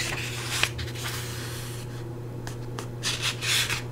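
Fingertips with long nails rub and scratch the surface of the thick paper pages of an open paperback book held in one hand. The result is soft, bright papery scratching and rustling with a brief sharp tick early on and louder swells of scratching near the end, all over a steady low hum.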